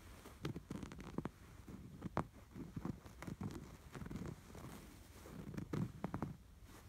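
Several fingertips scratch back and forth over the textured embroidery of a soft, stuffed cream canvas throw pillow with a red and white embroidered sweater motif. The sound is a quiet, dull, low scratching made of rapid, short rasping strokes that rise and fall in bursts, with little bright content.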